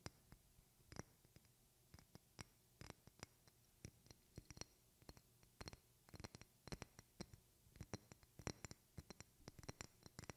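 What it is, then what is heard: Glass perfume bottle. Long painted fingernails scratch and tap a medium rectangular glass perfume bottle with a silver cap, held in both hands. Quiet, short, sharp clicks and scrapes come in irregular clusters, some hard and some soft, with brief bright glassy ticks over a low hum and no lingering ring.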